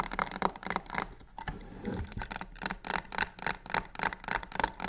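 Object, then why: Box covered in embossed faux leather. Long pink nails rapidly scratch and tap the sides of a medium, hollow black box covered in croc-embossed faux leather with white stitched edges, resting on a wooden table. About 17 quick, dry taps land at an uneven pace, each with a short hollow knock centered near 1 kHz and a bright edge. Between them come gritty, scraping rustles, with a brief quieter scratch in the middle.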